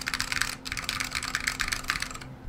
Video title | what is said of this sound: Rebuild: H87ALPS Pre-Release PCB in Salamander w/Alps Browns | actually sounds considerably better than this board with the weight on but it only sounds good right there in the center